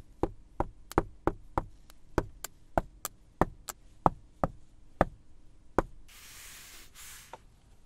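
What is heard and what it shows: Fingertips and nails knock and tap sixteen times on the black padded leather center-console armrest of a Mercedes-Benz S-Class Maybach, each hit a short, dull thud that dies away almost instantly. Palms then rub across the leather in two soft, breathy swishes.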